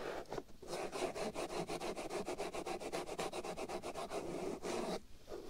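Fingernails scratch and rub the black foam windscreen covering the right ear of a binaural microphone. The result is a fast, steady run of close, rasping scratch strokes, full and mid-heavy with a soft bright hiss. There are brief pauses near the start and end.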